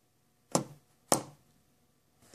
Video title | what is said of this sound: Ultimaker2 24V servos heaters don't work | did you hear the click on the second tab that fixes the problem and now all the servos work